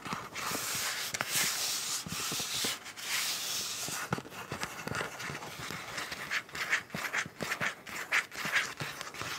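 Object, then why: Frosted soft plastic zip pouch. Long nails scratch and tap across an empty-looking frosted, translucent soft plastic zip pouch with a teal print showing through it. Bright, crinkly rustling fills the first half, then gives way to sharper, clicky taps and scrapes with almost no low end.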